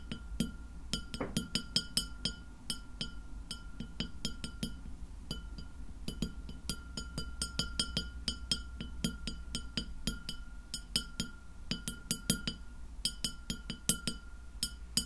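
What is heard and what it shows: Long nails of both hands tap rapidly across a large, round, solid white glass plate lying flat and empty. Each tap gives a short, bright clink with a faint steady ring, over a low, constant hum.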